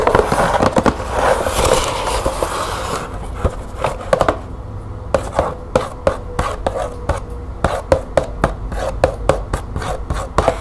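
Long nails scratch and tap the front panel of a green printed cardboard box holding light bulbs, held up in the hand. The first three seconds are a dense, papery scratching hiss, which gives way to quick, sharp, dry taps with a faint hollow tone around 530 Hz. Each tap dies away almost instantly.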